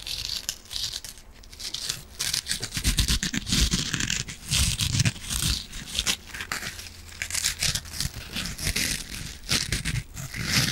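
Long nails scratch the green scouring pad side of a palm-sized yellow foam kitchen sponge and pinch its foam, making dense, bright, crinkly rasping bursts. Soft low thuds from the squeezed foam run under the scratching, and each stroke stops dry with almost no ring.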